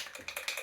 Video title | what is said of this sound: Ceiling water stain paint and pine shelves: Outdoor Fun EP104 | So you can see it is rattling.